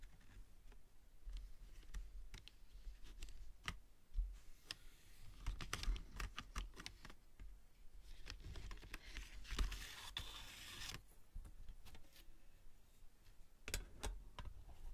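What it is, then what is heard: Metal pencil tin. An open flat metal pencil tin with pencils inside is tapped rapidly with long nails along its rim and lid. The tin is then closed and tapped on. The result is quiet, sharp, clicky metallic taps with a brief ring, plus a burst of brighter rustling in the middle.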